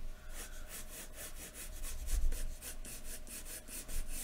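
A wooden graphite pencil is rubbed and scratched across a large, thin white paper sheet lying flat on a wooden desk, shading long strands of hair. Quick, rhythmic back-and-forth strokes make a bright, airy scratching over a steady low rumble, with a few slightly louder strokes standing out.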